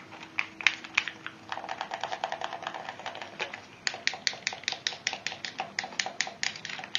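Fingertips rapidly click the buttons and tap the shell of a hollow, hand-sized pink plastic PlayStation-style gamepad. Crisp, bright plastic clicks come in a dense flurry over the first few seconds, then continue as more evenly spaced taps. Each click is dry and ends almost at once.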